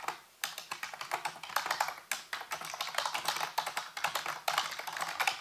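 Fingertips type rapidly on a full-size black plastic computer keyboard with hollow keys, set on a white base. A steady stream of quick, dry, clicky taps sounds bright and midrange, with no low end, each click dying away almost at once. A brief pause near the start breaks the flow before the typing resumes unbroken.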